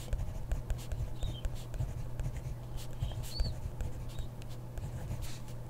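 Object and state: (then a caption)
Pen writing on a paper notebook page. A hand writes with a ballpoint pen on a grid paper notebook page, the pen tip scratching the paper in quick, irregular strokes. Soft scratches and taps sit over a steady low hum, with faint high chirps now and then.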